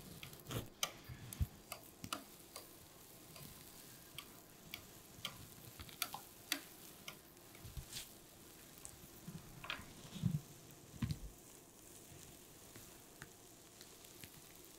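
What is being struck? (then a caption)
Metal palette knife on glass inking slab with printing ink. A metal palette knife held in the hand scrapes and spreads black printing ink across a flat glass inking slab. The result is a quiet series of short, sharp ticking scrapes that die away almost instantly, with a few louder clicks and faint sticky smearing between them over a low, steady background.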